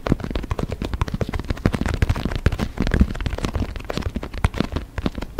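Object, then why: Inflated synthetic leather soccer ball. Fingertips and nails rapidly tap and scratch the synthetic leather skin of an inflated, hollow white and orange soccer ball held against the microphone. Each tap is a short, deep, boomy thump with very little high end, and soft scratching fills the gaps between taps. The taps and scratches run continuously, with no ringing between them.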